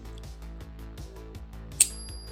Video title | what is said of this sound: Silver prize from TSC | Oh, lovely little ring. Can you hear that? Beautiful. Definitely silver. Very, very nice.